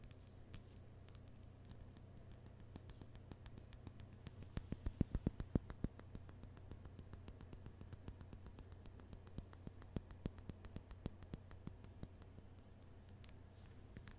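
A small tinted glass bud vase holding a single pale rose is held in one hand and tapped with long manicured nails. Quiet, quick, sharp clicking taps come in an uneven rhythm, a little louder and denser in the middle, over a steady low hum.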